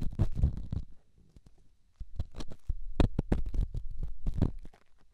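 A small, solid, rough rock held in the fingertips is rubbed against a silicone microphone ear. This produces close, muffled scratching and thumping that is mostly deep and low, in uneven bursts. A quieter lull comes around the first to second second before the rubbing picks up again.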